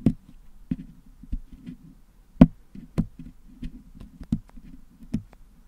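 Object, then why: Metal mesh microphone grille packed with putty, picked with a wooden toothpick. A wooden toothpick pokes and scratches near the top of a Blue Yeti microphone's metal mesh grille that is filled with blue putty, picking the putty out to clean it. Dull, low, close-up knocks land at irregular intervals with soft scratchy rustling between them, and each tap dies away almost instantly.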